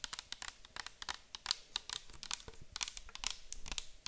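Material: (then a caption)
Plastic. A clear plastic micellar water bottle full of liquid is held and tilted while long acrylic nails tap and scratch it. About 20 sharp, bright clicks and scrapes come in quick, uneven succession, each dying away almost at once. The result is a dense, crisp patter with little low end.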